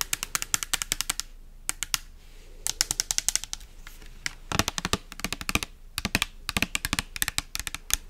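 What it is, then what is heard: Plastic pump soap bottle. Long nails tap rapidly on a pink translucent plastic pump bottle with an orange pump, filled with liquid and held close to the mic. Dozens of sharp, bright clicks come in quick bursts separated by short pauses, each tap dying away almost instantly.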